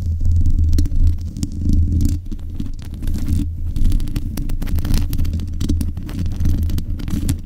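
Long nails scratch the top of the metal mesh grille on a black USB condenser microphone. The result is a dense, continuous low rumbling scrape with faint brief ticks, its energy almost entirely in the deep low end and little brightness.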